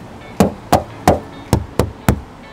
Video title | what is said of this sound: 【老施推車】激情過後，燈打開就目屎若滴了。小施後悔了嗎?/ 2017 Maserati Levante S 試駕分享 | 这个铝合金的敲起来比较声音比较没有那么清脆，如果是铁的声音敲起来会很清脆，好，闷闷的声音不一样